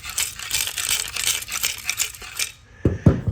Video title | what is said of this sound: 2015 Chevy Camaro 2SS RS Convertible Part 2 - Is It Too Far Gone??? - UNR 209 | the material inside the actual catalytic converter was broken and coming apart